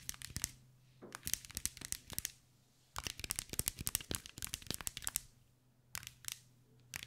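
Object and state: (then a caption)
Glass mosaic ball. Long white nails tap and scratch a hand-sized green mirror-and-glass mosaic ball, making rapid clusters of bright, clicky ticks and crinkly scraping. The bursts come in waves separated by short pauses, over a faint steady low hum.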